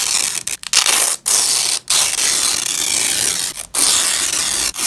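A black-gloved hand pulls a fastened purple nylon velcro strap apart from grey fabric in a ripping action. The result is a harsh, bright, crackling tear that comes in several long bursts separated by brief silent gaps, with almost no low end.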